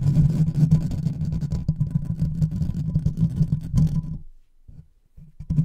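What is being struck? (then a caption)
Metal mesh microphone grille. Fingertips and short nails of both hands scratch fast across the hollow metal mesh grille of a large silver microphone with no cover. The result is a dense, low, rumbling scratch that runs steadily for about four seconds, then drops to near silence with a few faint bursts before picking up loudly again at the very end.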